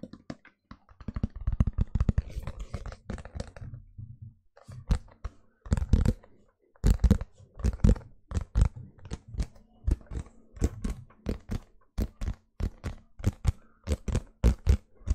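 A medium, round, clear plastic food container, hollow and empty, is held in both hands while fingertips tap and rub it. The result is a dense flurry of soft, hollow, low taps that pauses briefly, then gives way to a steadier run of separate, dull knocks that die away quickly.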